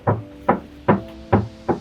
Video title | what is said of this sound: Bang Jo, Mau Jalan2 Ke Medan, Pasang Peredam Suara Dlu Dong | penimbul suara berisik ini ada di sini rongga-rongga yang sangat besar